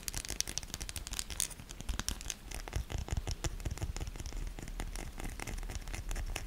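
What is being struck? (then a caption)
Bar of soap. Long nails quickly scratch the ribbed and embossed surfaces of a solid pink soap bar. A rapid, steady stream of dry, crisp scrapes and clicks rings bright over a low rumble, without pause.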